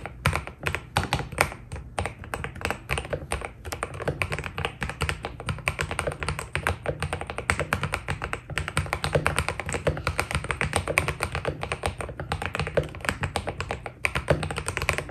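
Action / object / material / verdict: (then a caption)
tap / mechanical keyboard with PBT plastic keycaps / PBT plastic / none. Fingertips type steadily on a white Keydous NJ80 mechanical keyboard with PBT plastic keycaps. The rapid, continuous key presses give short, dry taps with a low, muted thock and a bright click on top, each dying away almost instantly.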